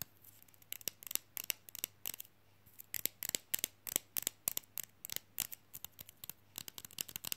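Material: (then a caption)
Plastic. A small, flat, solid, rigid rectangular fridge magnet, glossy white and printed "I like big books," is held in one hand and tapped fast with fingernails on its face and edges. About thirty sharp, dry, bright clicks come in quick irregular bursts, each dying instantly with no ring, over a faint steady low hum.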